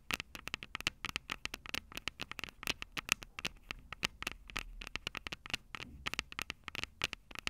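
Long purple acrylic nails tap the two metal microphone capsules of a small black plastic Tascam DR-05 handheld recorder held upright. A rapid, uneven stream of dozens of sharp, bright clicks follows, each with a faint metallic ping near 2.7 kHz that dies away almost at once, over a quiet background hiss.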